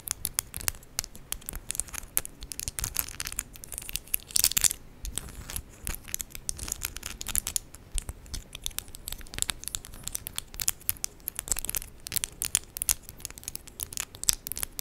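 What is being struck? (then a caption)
Acrylic press-on nails with charms. Long decorated acrylic press-on nails with raised 3D charms, small and hard plastic, tap and click against the nails of the other hand while both hands are held together in front of the body. The result is a steady stream of rapid, sharp, bright clicks and light scratchy taps, each dying away almost instantly, with occasional denser flurries.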